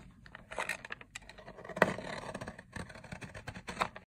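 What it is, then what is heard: Dry soap bar. A box-cutter blade repeatedly scrapes and cuts a long, solid, dry teal-green soap bar resting on a white surface. It makes a series of crisp, crunching scrapes with bright, rasping texture and short, dry sounds that do not ring on. The soap breaks into crumbly flakes.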